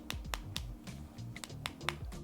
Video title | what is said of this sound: Lattafa Asad Zanzibar - Worthy Successor To Asad Or A Let Down? | it feels solid this one